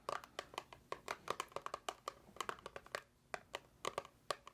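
Long acrylic nails tap and scratch a small, hollow white paperboard box, apparently empty and held in the hands. A steady run of quick, separate, crisp taps has a hollow, papery ring around 1.2 kHz and bright clicky edges, each dying away almost instantly, with faint scratching between them.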